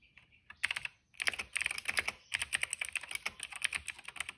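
Fingertips of both hands type steadily on a retro-style cream plastic mechanical keyboard with dark and purple plastic keycaps and a hollow case, resting on a rug. Bright, dry, clacky taps come in quick bursts with a brief pause near the one-second mark, and each tap stops almost instantly with no ring.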